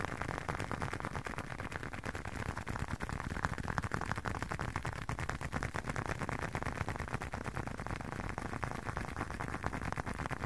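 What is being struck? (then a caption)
Leather wallet. A leather wallet is tapped for ASMR with no talking, giving a steady run of quick, soft, dull taps over 10 seconds. The taps fall about three per second, each dying away almost at once, and their low thuds are heavier than any bright click.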